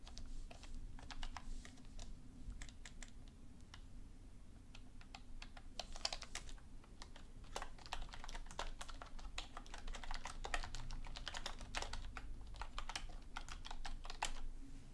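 Long nails and fingertips tap continuously on the hollow plastic keys of a black full-size plastic computer keyboard resting on a desk. The result is a rapid, uneven stream of short, bright clicks with almost no ring, over a steady low hum.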